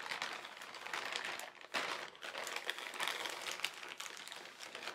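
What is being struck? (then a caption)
Thin plastic carrier bag. A large, thin white plastic carrier bag printed with black lettering lies flat while both hands rub and crinkle the film with fingertips and palms. The result is a steady, bright crinkling rustle with no low rumble and small sharp crackles scattered throughout. It briefly softens just before the two-second mark, then swells again.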